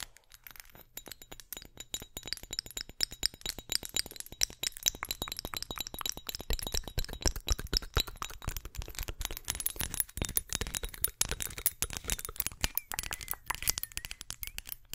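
Long acrylic nails tap and scratch a small, hollow, clear glass perfume bottle with a metal neck and cap. Rapid, dense clicks and clinks come out bright and crisp, with faint high glassy ringing and a soft scratching hiss between taps. Each tap dies away almost instantly, keeping the rhythm busy and steady throughout.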